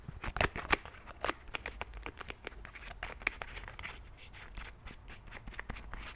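Fingers click the pump and cap of a white plastic cleansing milk bottle and tap on the bottle. A rapid, irregular series of short, dry, bright plastic clicks and taps is heard, with some louder snaps early on and softer ticking later. Each click stops at once with no ring, over a quiet background.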